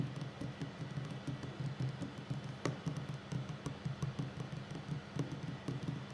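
Fingertips and short nails of both hands drum rapidly on a solid wooden tabletop. The result is a quiet, continuous patter of soft, dull taps that stays low and muffled, broken by occasional sharper, brighter nail clicks.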